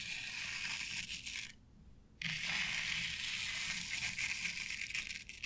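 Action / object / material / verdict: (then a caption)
scrape / synthetic turf on a flat board / synthetic turf / none. Long nails scratch through the fibers of a flat board covered with synthetic turf, making a dense, bright, crackling hiss. The scratching pauses briefly for about half a second near the middle, then resumes just as busy and continues to the end.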